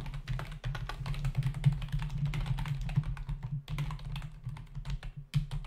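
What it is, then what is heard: Plastic computer keyboard. Fingertips of both hands type fast on a full-size black plastic membrane computer keyboard with hollow keys, resting on a desk. A rapid, uneven run of short, bright clicky taps dies away almost instantly, over a steady low hum.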